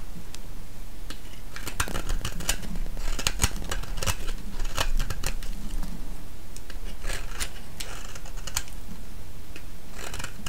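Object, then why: Bar of soap. A thinned, solid green soap bar held in the hand is scraped with a metal blade and then a knife. Short, crisp, bright scraping ticks repeat unevenly over a steady low rumble, at an even level throughout.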